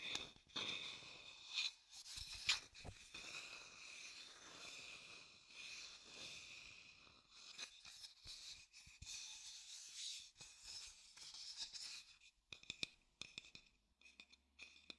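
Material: Wood.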